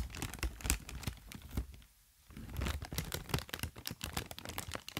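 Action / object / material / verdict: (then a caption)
scrape / inflated plastic air pillow packaging / plastic film / none. A long strip of inflated, green-tinted plastic air pillow packaging, hollow and filled with air, is squeezed and crinkled with fingertips and long nails. It gives dense, rapid crinkling and sharp crackling ticks over a low, muffled thump. A brief near-silent pause comes just before the middle, then the crinkling resumes.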